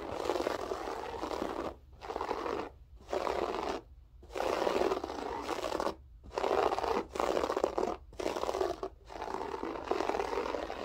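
Fingertips with long acrylic nails scratch a flat beige floor carpet with a textured loop pile. The result is steady, rough, crunchy scraping in the midrange, broken by brief pauses between bursts of scratching.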